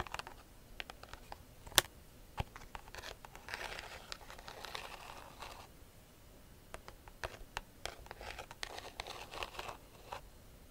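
Long nails scratch across the weave of a hollow, round woven rattan bag, producing dry, crackly scraping and bright ticking clicks. Sharp clicks stand out from stretches of denser rustling scratching, with one especially loud snap early on.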